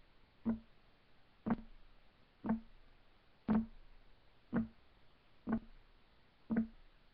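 Fingertips of both hands tap rapidly on a solid, flat, light wood desk top. Seven distinct knocks land about once a second, each a short, dull thud with a low tone near 220 Hz that fades quickly.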